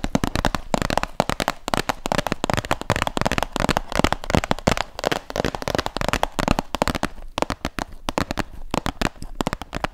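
Nails and fingertips tap rapidly across the faces of a closed, medium printed white and yellow cardboard retail box held in both hands. The result is a dense, continuous stream of short, dry clicks and taps with almost no ring.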